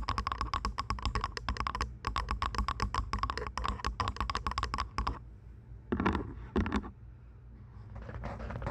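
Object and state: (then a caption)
Plastic over-ear headphones. Long acrylic nails tap and scratch the hollow plastic earcups and headband of lavender and white plastic over-ear headphones fitted over a binaural microphone. For about five seconds a rapid run of sharp, clicky taps with a hollow knock is heard, then two short louder bursts, and the clip ends on a soft, rising scratch.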